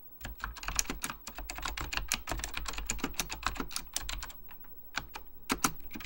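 Fingertips type continuously on a beige plastic full-size Apple Extended Keyboard II, pressing its hollow plastic keycaps over mechanical switches. Rapid, bright, clacky keystrokes that die away almost instantly sit over a steady low hum, with a few louder key strikes near the end.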